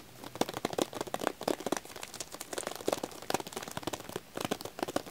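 Fingertips and nails tap and scratch the plastic film and paper label of a full, shrink-wrapped pack of cream vanilla wax tealights. A quick run of short, dry crinkling taps and scratches with little low end and a crackly, bright edge, each dying away almost instantly.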